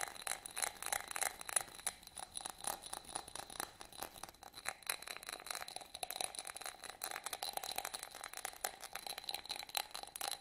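Fingernails scratch over a small, hollow, empty yellow studded glass votive holder held in the hands, producing a dense, continuous run of quick, dry scratches and faint rattling ticks. The sound is quiet and bright, with almost no low end, a steady band around 700 Hz, and a thin high ring above it. Each scrape dies out almost instantly.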